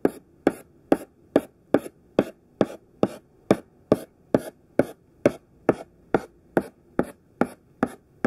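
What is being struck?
Thick chalk stick on a chalkboard.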